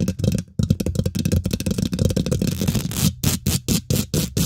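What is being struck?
Metal mesh microphone grille.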